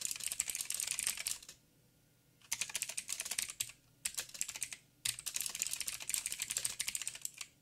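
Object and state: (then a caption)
Mechanical keyboard with plastic keycaps. Fingertips of both hands type rapidly on a backlit mechanical keyboard with black plastic keycaps on a silver frame and a hollow housing. Dense, bright, clicky key taps come in bursts with short silent pauses between them, each tap sharp with almost no ring.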